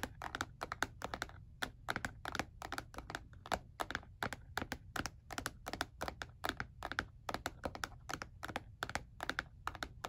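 Fingertips tap on the grooved back of a black hard plastic calculator lying face down, its hollow casing giving each tap a short, dry, clicky knock. The taps come in quick, irregular bursts that sound like fast typing, with bright edges and a tone centered around 1.5 kHz. A faint, steady low hum runs underneath the whole clip.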